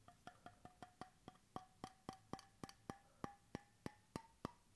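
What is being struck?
Bamboo cap on a stainless steel bottle.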